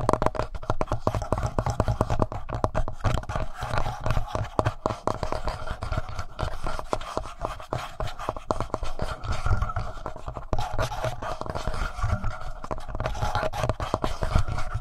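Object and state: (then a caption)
Plastic handheld audio recorder. Fingertips rub and scratch the top of a handheld black plastic Tascam audio recorder near its microphone capsules. The result is a steady, dense stream of close, scratchy friction, dominated by a deep low rumble with a mid-range rasp over it and almost no high end.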